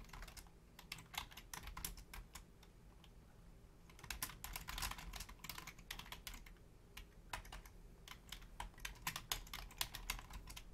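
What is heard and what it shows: Both hands type on a black plastic Logitech full-size keyboard with a hollow shell and membrane keys, using long painted nails and fingertips. Rapid, bright clicky key taps come in uneven bursts with short pauses, over a steady low hum.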